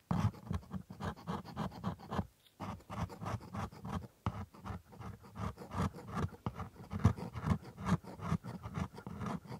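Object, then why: Plastic dental model with a steel scaler. A steel dental scaler scrapes in repeated strokes along the white plastic teeth of a pink-gummed typodont coated in white paste. The result is a steady run of soft, dry scratching strokes, mostly low and dull in tone, with a brief pause near the start before the scraping resumes.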